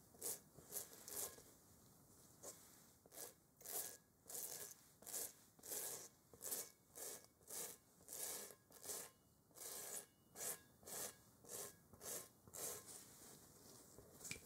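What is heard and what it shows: A large, hollow, textured rubber playground kickball, held in a gloved hand, is rubbed with a yellow sponge. About two dozen short, bright, scratchy rasping strokes repeat at an uneven pace over a faint background hiss.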